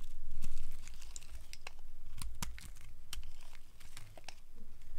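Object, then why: Bar of soap shaved with a blade. A solid, cream-colored rectangular bar of old, dry soap is held in the hand and shaved along its edge with a utility knife blade. Quick, uneven, dry crunching scrapes and crinkly crackles come through, with short bright snaps as the blade bites off flakes.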